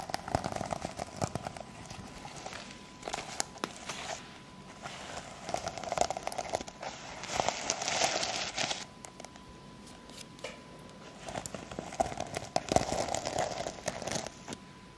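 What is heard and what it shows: Long fake nails scratch and brush across a small hand-held pouch or notebook cover covered in flip sequins on fabric. The result is bursts of crackly, crinkling rustle with bright, hissy highs, separated by quieter pauses. A faint steady tone hums underneath the whole clip.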